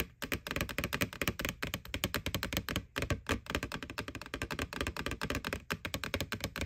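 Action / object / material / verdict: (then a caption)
tap / hollow plastic bucket / plastic / none. Fingertips and nails tap rapidly on the side wall of a white, hollow, bucket-sized plastic McDonald's Boo Bucket with a ghost face. The result is a dense run of short, hollow knocks with a low thump and bright clicky nail edges that die away almost instantly, broken by brief pauses.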